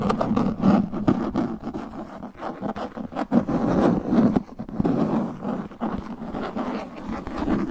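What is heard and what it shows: Knuckles and fingertips knock and scratch the face of a translucent plastic frisbee disc. The result is a quick, irregular run of dull, hollow taps mixed with scratchy rubbing, low-mid in tone with very little ring after each hit.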